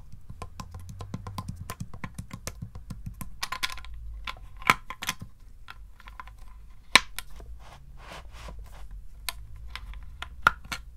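Fingertips and short nails tap across the closed lid of a small, hollow wooden chest-style treasure box with pale metal straps and a metal handle, resting on carpet. Quick, irregular, dry clicks patter along with almost no ring, and a few sharper, brighter ticks stand out. They carry a faint tone near 2.3 kHz over a soft low rumble.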